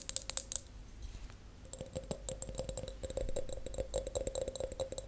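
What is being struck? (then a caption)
Glass tumbler. An empty, clear, hollow glass tumbler held on its side is tapped on its bottom and sides with long acrylic nails and natural nails. A few loud, bright clicks open the clip, followed by a long run of quick, soft ticks with a faint ringing tone near 550 Hz.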